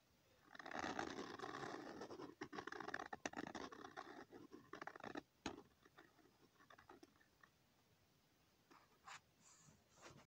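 A pen tip scratches small repeated circles onto a thin, flat sheet of lined notebook paper. A dense, continuous scratching fills the first five seconds, then breaks into quieter, intermittent strokes with brief brighter scrapes near the end.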